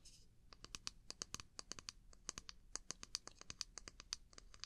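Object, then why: Small wooden mug. Long nails tap and scratch the outer surface of a small hollow wooden mug with a handle, held close to the mic. About thirty quick, dry, bright clicks come in an uneven run and stop instantly with no ring, after a brief soft scratch at the start.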